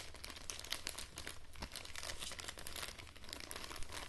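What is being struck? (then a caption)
Thin plastic bag. A small, semi-transparent printed plastic bag is held in both hands while fingers and long nails crinkle and scratch it. The result is a steady, dense stream of bright crackling and scratching with no clear pauses, over a faint low rumble.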